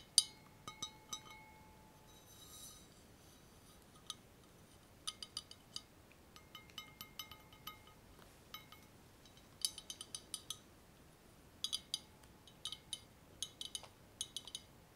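A long, hollow, empty clear glass laboratory tube with a frosted ground-glass joint is held in both hands above bubble wrap and tapped with fingertips and nails. It gives a quiet, irregular string of bright, high glass clinks that each ring only briefly before dying away.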